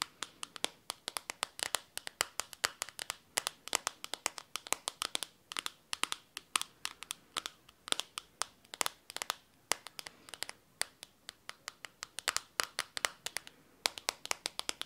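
Long teal-painted nails rapidly tap and scratch the glossy blue back of a hand-sized smartphone in what looks like a plastic case, held up close to the microphone. Dozens of sharp, dry, bright clicks come in quick, uneven bursts, each stopping instantly with no ring and almost no low end, with soft scratchy rustles between them.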